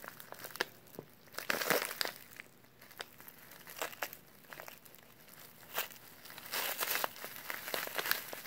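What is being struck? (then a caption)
Kraft paper pouch. A small, flat brown kraft paper meal pouch with green printed directions is held and crinkled between latex-gloved fingertips. Dry, bright crinkles and crackly bursts come in uneven clusters, with a louder stretch near the start and again toward the end. There is almost no low end, and each crackle dies away almost instantly.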